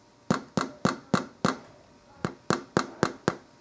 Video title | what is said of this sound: How To Tell If Ciabatta Bread Is Fully Cooked | hear that hollow sound that's the sign of it being all done